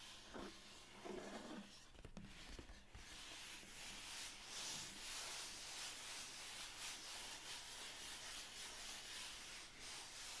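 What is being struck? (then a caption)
Cardboard mailer box. Fingertips and nails rub and scratch the closed lid of a medium, hollow brown cardboard mailer box. The result is a steady, bright, hissy scraping texture with a few soft, duller bumps near the start.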